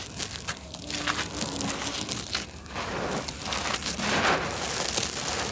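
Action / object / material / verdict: scrape / sand-cement clumps / cement / none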